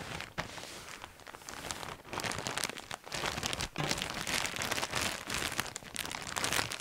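Gloved hands with bare fingertips crinkle and squeeze a large, clear, thin plastic bag full of coloured fabric lanyards. The result is a dense, bright, steady crinkling and crackling, with short lulls around two and three and a half seconds before the rustling picks up again.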